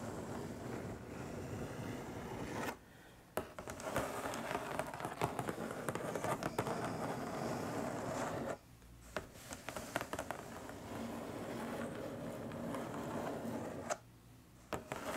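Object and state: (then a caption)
Cardboard box. Long nails tap and scratch along the top edge of a long, flat, hollow printed cardboard box. The result is a dense, dry scratching and crackling in three stretches, broken by two brief pauses, with sharp tap clicks sprinkled throughout.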